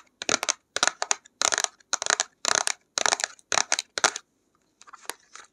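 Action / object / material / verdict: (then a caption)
tap / cardboard box / cardboard / none. Long acrylic nails tap and scratch a flat printed cardboard box of acrylic paints held in both hands. Quick, crisp, bright bursts of rattling taps and scratches come one after another, with softer, sparser taps at the end.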